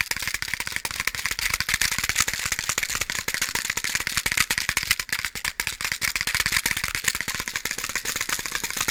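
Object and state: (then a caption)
Box of matches rattling. A box of matches is handled and shaken, so the matches rattle loose inside. The result is a steady, fast stream of dry, bright clicks with almost no low end, each tick stopping short.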